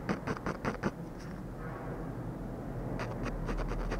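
A ballpoint pen tip scratches rapid hatching strokes near the lips of a drawing on a thin, flat sheet of textured paper. A quick run of short, dry scratches opens the clip, then fades into a steady low hiss before fainter strokes return toward the end.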